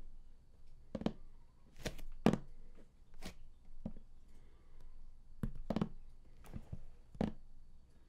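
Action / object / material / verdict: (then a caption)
tap / large cardboard box / cardboard / none. Fingertips and nails of both hands tap the raised top panel of a large printed cardboard collector's edition game box lying flat. The result is a quiet, irregular series of short, dull, hollow thunks with a low body and brief bright nail clicks on some strikes. Each tap dies away almost at once.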